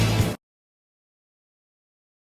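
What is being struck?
Nothing is struck.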